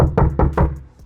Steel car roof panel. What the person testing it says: if you knock it's empty, yeah. So practically it means it's very large metal panel that is resonating